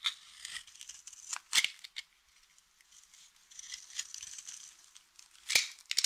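A utility knife blade shaves and cuts thin flakes from the edge of a solid, dry blue soap bar. The result is a crunchy, crisp scraping with no low end. Quiet rasping stretches are broken by sharper, louder cuts near the start, middle and end.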